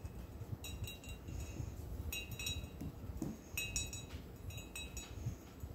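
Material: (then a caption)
Glass. Fingertips and nails tap the side of an empty, hollow clear glass beer mug with a handle and a blue dolphin print, standing on a floral tablecloth. Each tap gives a short, bright glassy clink with high ringing tones that fade quickly, over a steady low rumbling background.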